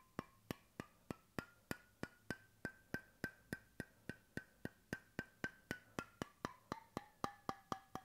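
Fingertips tap steadily on the end of a wooden bamboo cap fitted to a stainless steel bottle, held close to the mic. About 29 short, dry, hollow knocks, roughly four per second, each dying out almost at once. Their woody tone rises slightly in pitch, then slides lower toward the end.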